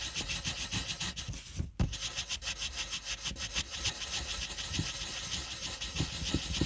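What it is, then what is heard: Colored pencil scratching on a paper sheet. A purple wooden colored pencil tip scratches and rubs over a flat, thin white paper coloring page resting on a table while the letter R is colored in. The sound is a steady, bright, grainy scratching with soft low bumps from the strokes. It breaks off for a brief pause partway through, followed by a sharper tap as the rubbing resumes.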